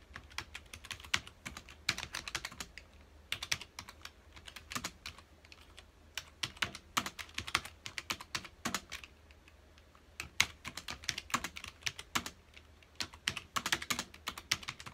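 Fingertips of both hands type on a full-size black plastic computer keyboard with hollow key housings, resting on a dark desk. Quick, bright, clacky keystrokes come in bursts with brief pauses, each tap dying away almost instantly over a faint low hum.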